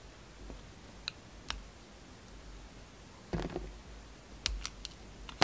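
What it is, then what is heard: Bar of soap being cut. A utility knife blade carves thin layers off a solid red quilted bar of soap held in the hand. Short, sharp clicking scrapes with a bright crackle come in sparse bursts over a quiet, low background hum, with a denser cluster of cuts in the middle and end.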